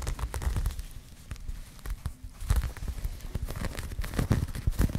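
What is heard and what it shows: Long nails scratch and rub across a pink crocheted yarn bag, making a dense, low, rustling scrape full of quick crackly ticks. The scratching eases into a quieter, softer patch in the middle before picking up again with sharper, brighter strokes toward the end.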